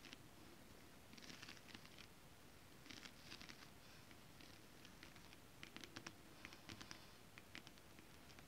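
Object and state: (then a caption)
Holographic scale-print fabric tapped and scratched with nails. Long acrylic nails tap and scratch across flat holographic mermaid scale-print fabric. Soft bursts of bright, dry scratching alternate with quick, sharp clicks over a faint low background hiss. The whole clip stays quiet and close.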